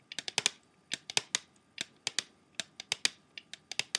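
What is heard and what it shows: Fingernails tap rapidly on the clear plastic disc tray of an open, empty CD jewel case, giving 21 sharp, bright clicks. The taps come in quick bursts of two to five with short pauses between them. Each click is dry and dies away almost instantly, with no low-end body.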